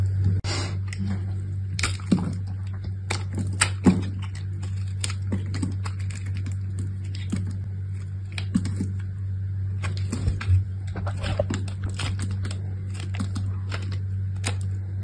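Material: Soap.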